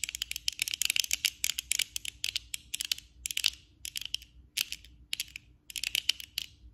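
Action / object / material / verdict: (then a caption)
tap / plastic eyeglass frame and lenses / plastic / none. Long acrylic nail tips on both hands tap the lenses and frame of worn black plastic eyeglasses. Rapid, bright, clicky taps come in quick flurries separated by short pauses. Each tap is dry and stops at once with no ring.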